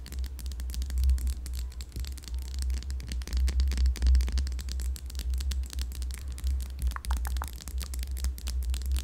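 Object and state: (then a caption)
Glass candle jar tapped and scratched with nails. A yellow candle in a glass jar, filled with wax, is tapped and scratched on its rim and sides with long yellow nails. Quick clicking taps and scratchy strokes run throughout over a steady low hum near 74 Hz. Brief brighter tones rise near the end.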